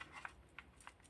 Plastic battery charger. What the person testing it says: if I shake it there's something rattling inside